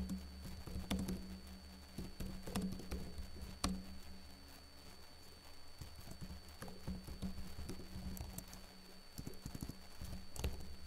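Fingertips with short blue-painted nails type on the plastic keys of a backlit laptop keyboard, producing soft, quick clicks and patters with brief bright ticks. The taps run unevenly over a low steady hum that stays present throughout.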